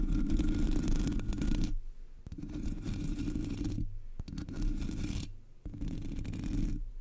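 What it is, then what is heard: Metal mesh microphone grille being scratched. Long nails on both hands scratch the top of a Blue Yeti microphone's black hollow metal mesh grille. The result is a dense, rustling scrape with a strong low rumble and little brightness, coming in several bursts separated by brief quieter gaps.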